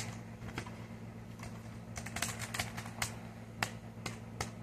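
Short fingernails tap the flat dark grey plastic underside of a thin wireless keyboard, a hollow casing held up in the hand. The taps are quick, bright, dry clicks that die away almost instantly, spaced unevenly over a steady low hum.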